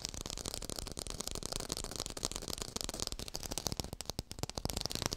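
Fingers tap quickly on an artificial orange with a textured surface, recorded in hi-fi. The taps come as a dense, steady stream of short, dry clicks with a bright, crisp top and a soft low body. Each tap dies away almost at once, with no ring.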